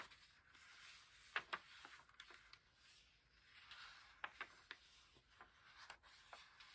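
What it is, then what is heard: Paperback book pages being turned and rubbed. The paper pages of an open paperback book resting on a pillow are turned and rubbed with the fingertips. The result is a quiet, soft paper rustle, bright and airy with almost no low end, punctuated by short, crisp flicks and taps as the pages move.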